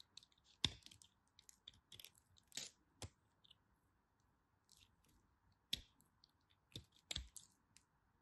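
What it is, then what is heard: Bar soap being carved with a knife. A knife tip carves and cuts a tiny remaining piece of pink striped bar soap held between long white nails. About a dozen crisp, bright crunching clicks and scrapes come out, each short and dry with almost no ring, over a faint steady hiss.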